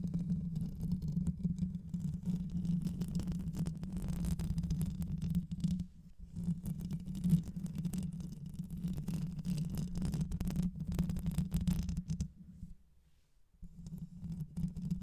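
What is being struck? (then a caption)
Metal mesh microphone grille. Long white acrylic nails on both hands scratch quickly across the rounded, hollow metal mesh grille of a black condenser microphone held up close. The result is a dense, continuous low rumbling scrape, strongest around 150–200 Hz, with almost no high content. It briefly dips near six seconds and goes nearly silent for about a second around 13 seconds before resuming.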